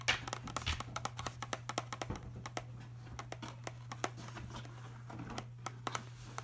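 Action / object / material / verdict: tap / small printed cardboard pill box / cardboard / none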